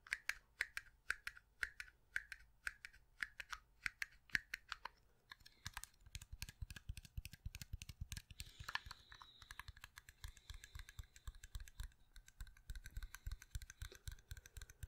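Fingertips and nails tap and click on the surface of a small translucent blue-green plastic pencil sharpener with a hollow shavings chamber, held in one hand with no pencil inserted. Sharp, bright clicks come in a steady, evenly spaced series at first, then give way to denser, faster tapping with soft low thuds beneath a scratchy high rustle. Each click is short and dry, with almost no ring.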